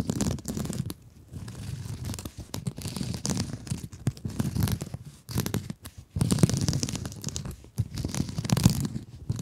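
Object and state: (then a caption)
Mesh scrub sponge. Long nails scratch and rub the surface of a blue glittery mesh scrub sponge held in both hands. The result is dense, crinkly scratching and rustling in uneven bursts with brief quiet gaps. Its body is low and muffled with a faint bright fizz on top.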